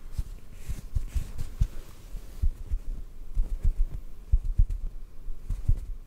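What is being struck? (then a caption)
Cotton ball. A small, soft white cotton ball is held between the fingers in front of the mic and gently tapped with the fingertips. The taps land as soft, muffled low thumps at an uneven pace, each dying away almost at once over a faint background hiss.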